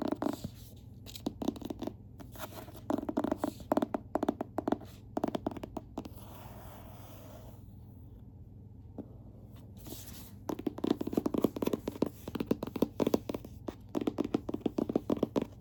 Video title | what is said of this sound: ASMR Book Tapping & Scratching, 2025 Book of the Month Rankings *tingles* *lofi* *whisper* *soft-so | I'm going to do some tapping and scratching on the book